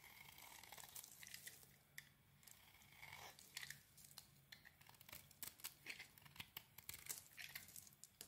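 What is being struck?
Bar of soap shaved with a small metal blade.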